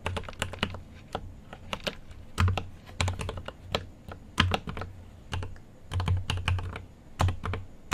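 Fingertips type on a mechanical keyboard with an aluminium case and plastic keycaps, producing a quick, irregular stream of sharp clicky keystrokes. Each press has a bright clack over a deep, low thock and dies away quickly.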